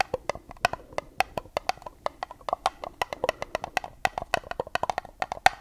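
A small, hollow, empty white dotted paper cup held upside down is tapped on its side wall with long nails. The result is a rapid, uneven series of about 33 sharp, dry clicks with a hollow, woodblock-like knock around 760 Hz and a bright tick on top. Each click dies away almost instantly.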